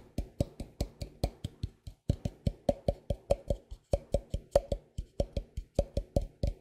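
A medium white plastic tub of moisturizing cream with a Cetaphil-style label, hollow and likely filled, is held in one hand and tapped by the fingertips and nails of the other. About 30 short, dry taps follow in a loose, uneven rhythm, each with a hollow tone around 560 Hz and a quick fade.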